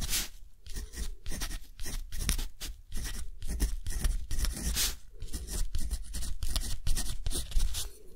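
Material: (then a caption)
Cotton paper. A metal dip-pen nib scratches across a thick, rough-textured cotton paper sheet lying flat and held by the fingers of the other hand while writing. Repeated short, bright scratching strokes come in quick bursts over a low, steady rumble.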